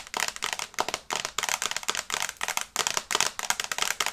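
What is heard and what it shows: Long red nails tap fast on the glass screen of a small, flat smartphone in a teal and brown case held in both hands. The result is a rapid, uneven stream of sharp, bright clicks that overlap into clustered bursts, with almost no low end and very little ring after each tap.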